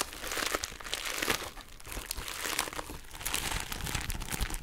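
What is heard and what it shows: A small, flat, pink heart-shaped plastic bubble wrap pouch is held in both hands and scratched and squeezed with long nails. It makes a steady, dense crinkling with bright, crisp plastic rustles and quick crackles over a soft low rumble.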